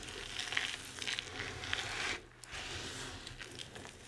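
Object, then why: Pile of crumbled bar soap. Bare hands with long red nails gather up a pile of dry crumbled bar soap chunks and shavings in white, green and pink, crush it between the palms and let the pieces fall. The result is a bright, crisp crackling and crunching with small sharp snaps, easing into a brief quieter lull just past the two-second mark before the crumbling resumes.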